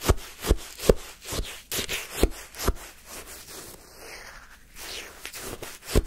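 A wooden stick stabs and scrapes into a paper cup full of pale yellow-green shaved-ice sherbet, lifting an icy scoop. Sharp, crunchy stabs repeat over gritty scraping and rubbing, with a bright icy crackle throughout.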